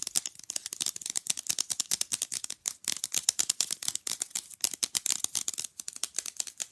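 A small, rigid, rectangular printed picture fridge magnet, solid and flat, is held close and rapidly tapped and scratched with long nails on its face and edges. Dozens of quick, dry, bright clicks and scratchy ticks come in an uneven, fast stream, with almost no low end. Each tap stops dead with no ring.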